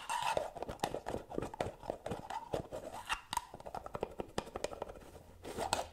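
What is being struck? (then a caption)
Small cosmetic jar with metal lid. Long nails tap and scratch quickly along the gold metal lid rim and body of a small round white cosmetic jar, which is held up and turned sideways. The result is a fast, uneven run of sharp clicks and dry scraping rasps, each with a short bright ring.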